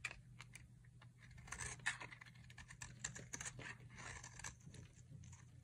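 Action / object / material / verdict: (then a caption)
scrape / bar of soap carved with a metal blade / soap / none. A solid pink-and-white striped dry soap bar, held in the hand, is carved with a metal utility knife blade into fine shavings. Quick, dry scraping and crisp flicks repeat in a rapid, uneven series, bright and rustling, over a faint low hum.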